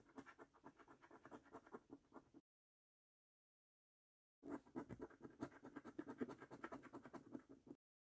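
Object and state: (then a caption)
Scratch card being scratched. A coin scratches the silver latex coating off a flat, thin cardboard £15 National Lottery Luxury Lines scratch card held by the fingertips. Two bursts of quick, irregular scraping strokes, with a short dry rasp centred in the low mids, are separated by about two seconds of silence. The second burst is longer and slightly louder.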